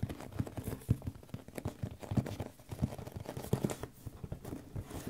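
Fingertips and nails tap quickly and unevenly on the top and sides of a hollow, medium white printed cardboard box, the packaging for an Audio-Technica microphone. Each tap gives a soft, dull, low thud around 113 Hz that dies away almost at once, with faint papery scratches between the taps.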